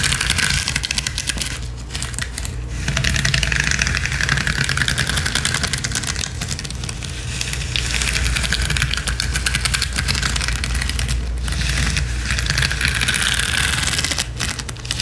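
Long nails scratch and tap quickly across a flat gold rhinestone mesh sheet lying on a spiky cushion. The result is a dense, steady, bright clicking and scraping over a constant low hum, with only brief dips in the flow of sound.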